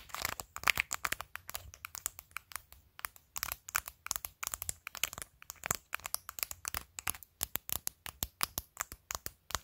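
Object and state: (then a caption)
Acrylic nails tapping and scratching on a plastic phone case. Long decorated fingernails tap and scratch over a phone in a clear plastic case decorated with glued acrylic press-on nails, near the camera module. The result is a quick, uneven run of sharp, bright clicks and short scratches with almost no low end, each snapping off dry with no ring.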